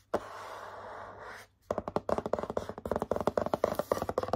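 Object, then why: Cardboard box. Fingertips and short nails scratch across a hollow purple cardboard box with a Hello Kitty pattern in a steady, papery rub lasting just over a second. After a brief pause, about 20 quick, uneven taps follow. Each tap is short and dry, with a hollow mid-toned knock.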